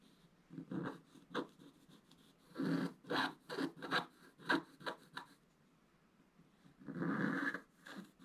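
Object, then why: Scratch-art paper sheet scraped with a wooden stylus. A wooden scratch stylus scrapes the coating off a flat black-coated scratch-art paper page in short strokes. About twelve dry, raspy scratches come in quick bursts, with a quiet pause and then one longer scrape near the end.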